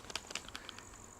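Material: Polymer.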